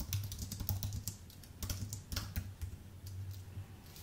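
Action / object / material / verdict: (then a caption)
tap / aluminium-based keyboard with plastic keys / plastic, aluminium / none. Fingertips type on a full-size white Apple Magic Keyboard with an aluminium base and plastic keys, pressing the keys in quick uneven bursts with brief pauses between runs. Each press is a short, bright click over a steady low hum near 100 Hz, with a few sharper, louder taps standing out.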